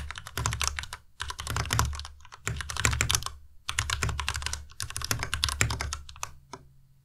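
Fingertips type on a white tenkeyless Ducky Miya Pro mechanical keyboard with plastic keycaps. Rapid clacky keystrokes come in bursts separated by short pauses, each press a bright click over a low thock. The typing trails off into a few scattered taps at the end.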